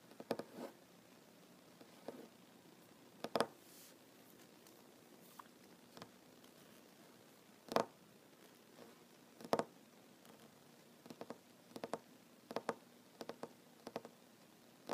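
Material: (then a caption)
Wood. Fingertips and nails tap quickly on a large solid wooden tabletop. The quiet, dry, short taps come in irregular bursts and clusters with a mid-range knock around 670 Hz. There is very little bass, and each tap dies away almost instantly.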